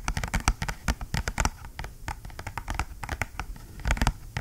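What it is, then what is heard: Cardboard box. Fingernails tap and scratch a small, flat, dark cardboard retail box with a white label sticker, held in both hands. Quick, crisp clicks with a dull low thump land in an uneven patter, with soft scratchy rustling between the taps. Each tap is dry and dies away almost at once.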